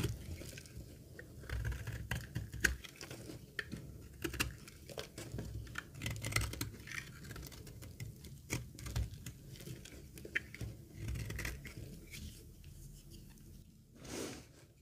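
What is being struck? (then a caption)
Laundry soap bar shaved with a metal blade. A solid, dry green laundry soap bar is held in the hand and shaved with a metal box-cutter blade, lifting thick curls. Irregular, crisp scraping and crackling strokes follow one another over a soft low rumble, ending with a brief, breathy swell.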